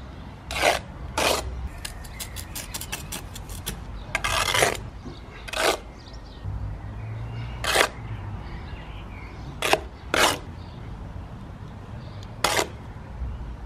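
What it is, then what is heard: Clay brick course being worked with a trowel. A gloved hand runs a steel trowel along the joints of a course of red clay perforated bricks, solid with holes rather than hollow, laid on a mortar bed at ground level. Short, bright, rasping scrapes and sharp taps stand out over a low steady rumble, with a quick run of light ticks and one longer scrape in the middle. Some of the sound may come from the mortar.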